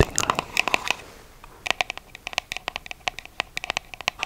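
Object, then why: Small cardboard box. Long fake nails tap and scratch the surfaces of a small, palm-sized, hollow red printed cardboard shoe box held close to the mic. A dense flurry of bright, dry clicks and scratchy rustles is followed by a brief lull, then a steady run of crisp, separate taps with almost no ring.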